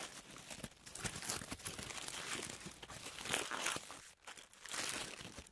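A white paper tissue sheet is held in both hands and crumpled, unfolded and crinkled with long manicured nails and fingertips. The result is a dense, bright, continuous crinkling and rustling, mostly high in tone with little low end. It dips briefly quiet near the four-second mark before the crinkling swells again.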